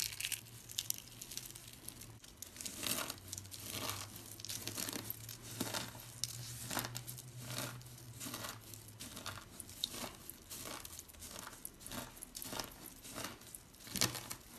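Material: Soap.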